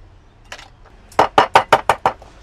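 A crab claw covered with a towel is knocked so the shell cracks and the juices can come out when it is steamed. Seven short, sharp knocks are heard, one softer knock followed by six firm, evenly spaced ones with bright, clicky cracks that stop almost instantly. The shell splits and the claw is left loosened.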